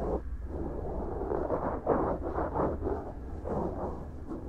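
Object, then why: Silicone ear of a binaural microphone. A cotton swab strokes and scratches inside the soft, solid right silicone ear of a binaural microphone and along its rim. The result is a steady, muffled scraping and rustling, dull and close, over a low rumble, with a few slightly louder swipes and no bright edge.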